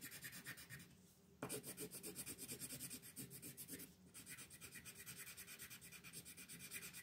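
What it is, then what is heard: Colored pencil shading on paper. A green colored pencil is rubbed across a flat paper coloring sheet in quick, repeated shading strokes while a hand with long red nails rests on the page. The soft, bright scratching comes in a steady run of short strokes, with two brief lulls before it resumes.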